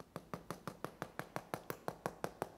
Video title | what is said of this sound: Why I Never Make Neapolitan Pizza At Home | take a listen can you hear how crispy this is